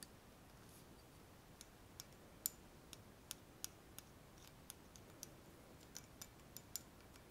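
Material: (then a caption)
Metal. Long nails tap and scratch along a slim, shiny metal pen-like tube held in both hands. About 17 sharp, bright clicks ring out one by one, each dying away almost instantly over a quiet, steady hiss.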